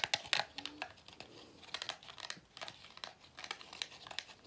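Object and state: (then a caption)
Pleated paper vacuum filter handled. Fingers squeeze and tap the black plastic or rubber end cap of a hollow pleated paper vacuum cleaner filter and rub along its paper pleats. The result is a quiet, dry run of crisp crinkling and crackling with many quick clicks and taps, bright and high with almost no low end. Each sound dies away almost instantly.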